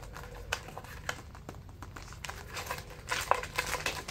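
Fingertips flick and tap the edges of a white, folded, pleated paper stack held in one hand. The result is rapid, crinkly clicks with bright, papery crackle that builds denser and louder toward the end.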